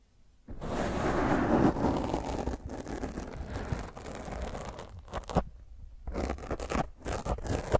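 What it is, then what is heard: Foam microphone windscreen being scratched. Long fingernails scratch hard across a black foam microphone windscreen. After a brief quiet start, a loud, continuous, rough scraping roar with heavy low rumble sets in, then breaks into choppier, uneven bursts of scratching toward the end.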